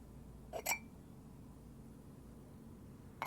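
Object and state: Ceramic teapot lid tapped.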